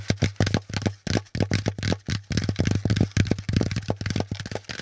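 Fingertips of both hands tap rapidly and unevenly on a brown corrugated cardboard packaging insert with a flat top and a pleated, hollow underside. Each tap is a short, dull, hollow thud, heavy in the low end with a faint bright papery edge, and it dies away almost at once.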